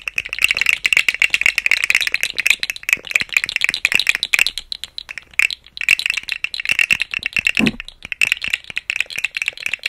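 A rainbow, segmented, hollow plastic articulated slug fidget toy is dangled and swung beside the microphone, its segments rattling against each other. The result is a dense, bright, dry clicking rattle centered around 2.5 kHz, with almost no low end and brief lulls midway and near the end.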